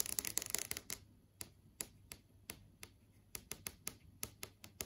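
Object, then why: Plastic-film LCD TV screen. Several long acrylic nails tap and trace across a large flat LCD TV screen with a plastic-film panel showing app tiles. A quick flurry of overlapping clicks in the first second gives way to sparse, irregular single taps. Each tap is bright, dry and very short, with no ring.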